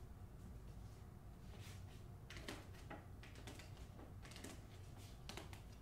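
Long acrylic nails tap the front cover of the hardcover novel *The Hacienda*, which has a glossy paper dust jacket and is held upright, closed and solid. Quiet, bright, papery clicks come in quick irregular bursts over a steady low rumble, each tap dying away almost at once.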